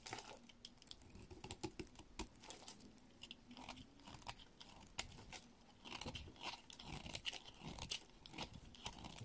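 A blade scrapes a solid, hand-sized, green speckled Palmolive bar soap into thin curls and powder. Dense, crisp, crunchy scrapes and flicks come in quick, uneven bursts with a bright, high edge. A short quieter pause falls near the middle before the scraping resumes.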